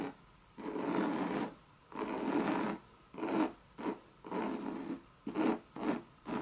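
Long red nails rub and scratch the base and side of a hollow coated Monogram canvas Louis Vuitton bucket bag. Long, dry rasping strokes alternate with shorter scratching bursts, separated by brief near-silent pauses. The sound is a mid-range, papery scrape with a faint high hiss and little low end.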